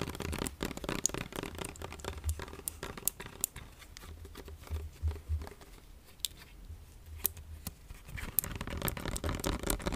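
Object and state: Plastic lotion bottle.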